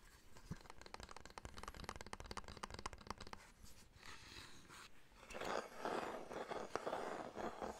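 Fingertips and short nails tap rapidly and unevenly on a small, hollow, reddish wooden box with a lid, held in both hands, making a dense run of dry clicks. The tapping then gives way to louder, breathy scratching across the wooden sides and lid, with a few sharper taps mixed in.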